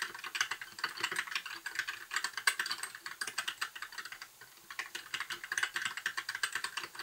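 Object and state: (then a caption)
Plastic mechanical keyboard. A compact white plastic mechanical keyboard with backlit keycaps and a hollow case sits on a desk while both hands type steadily on the keys with their fingertips. Rapid, crisp key taps produce short, bright clacks centered around 1.5 kHz with almost no low end, and each click dies away almost instantly. The typing pauses briefly just past the four-second mark before the steady rhythm resumes.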